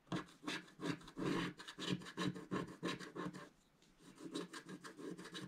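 A wooden stick scratches across a flat, black-coated scratch-art paper page while the other hand holds the page steady. The result is a series of quick, dry, raspy strokes in an uneven rhythm, with a brief pause near the middle before the scratching resumes more softly.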